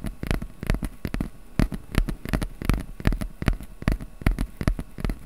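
A small, flat piece of brown corrugated cardboard is held in both hands above a microphone while fingertips tap and scratch its surface. The result is a quick, uneven run of short, dry taps with low, hollow thumps and bright clicking edges, mixed with brief papery scratching. Each tap dies away almost instantly.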